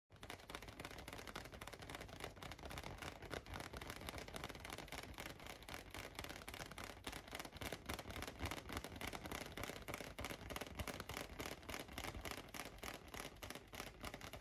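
A large, light-blue inflated latex balloon, hollow and air-filled and held on a lap, is tapped with fingertips and short painted nails. The tapping is rapid, steady and slightly irregular, with dry, hollow thumps and bright nail clicks that stop instantly. It runs evenly through the whole clip without pause.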